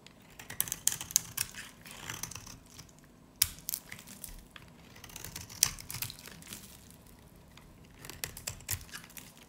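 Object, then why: Varnished soap bar scraped with a knife blade. A solid, dry, varnished yellow-green soap bar is held in the hand and scraped with a utility knife blade, sending off powdery shavings. Dry, crisp crackling and scratching come in irregular bursts, bright and thin with almost no low end, each scrape ending quickly with no ring.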